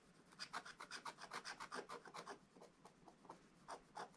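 A wooden stylus scratches the black coating off a scratch-art book page to reveal the drawn presents, making quick, dry rasping strokes in a rapid back-and-forth rhythm. Each stroke has a bright, papery hiss with little low end. The strokes soften briefly in the middle before a few firmer scrapes near the end.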